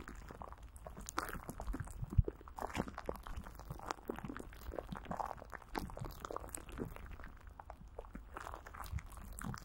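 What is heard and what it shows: A greasy hand grips and squeezes clear plastic film coated with Vaseline, stretched over a hollow microphone grille. The result is a steady stream of soft, close crinkling and sticky squelching with dense low rumble and very little high content. There is a louder squeeze near the two-second mark.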